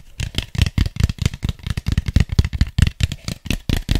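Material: Styrofoam.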